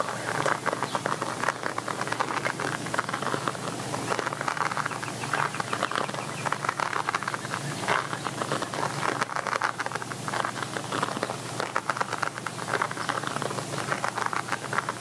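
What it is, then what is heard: Quilted patent vinyl pouch. Nails and fingertips tap and scratch the shiny padded surface of a small red glossy quilted patent vinyl zip cosmetic pouch with a rounded top, likely empty. A dense, steady stream of quick, dry taps and crackly scratches fills the clip, centered in the midrange with a light bright edge and almost no low end.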